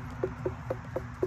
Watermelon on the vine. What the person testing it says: it sounds more Hollow when it's ready to be picked